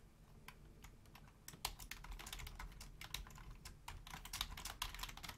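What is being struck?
Plastic computer keyboard.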